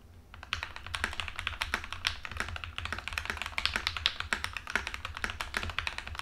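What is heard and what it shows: Both hands type with fingertips on an Epomaker TH80 mechanical keyboard resting on a desk. It has a plastic case, pink and white plastic keycaps, and tape-modded, lubed and filmed Black Ink V2 linear switches. After a brief quiet start, a fast, steady stream of bright, sharp plastic clacks with a slightly hollow tone plays over a faint low hum.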